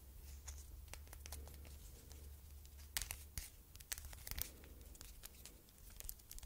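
A thin red faux leather strap bracelet printed with "I LOVE YOU" and set with a metal stud is held in both hands while long red nails scratch and bend it. The result is a run of quick, dry scratching and crinkling clicks with bright, sharp peaks over a low steady hum, heard close up in a quiet space.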